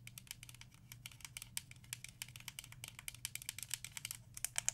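A small black DecoArt Crafter's Acrylic paint bottle, plastic, about 118 ml and appearing full, is held in the hand and tapped and scratched with long acrylic nails. It makes a rapid, uneven string of dry, bright clicks and scratches that stop instantly with no ring, over a faint steady low hum.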